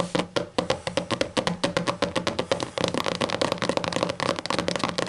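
A large, solid, closed hardcover book with a black textured cover lies on a table and is tapped and scratched with the long matte green and black nails of both hands. Quick, crisp clicks with a woody knock around 530 Hz fall in a steady run, then blur into a denser, faster patter mixed with scratchy rustle. Each hit dies away almost at once.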